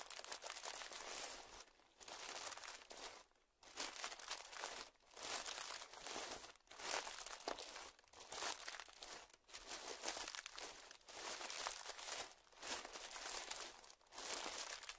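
Both hands squeeze and crinkle a small, puffed-up clear plastic zip-lock bag lying on dark fabric. Bursts of bright, dense crinkling and crunching rise and fall, separated by short quiet gaps, and the sound is mostly high with almost no low end.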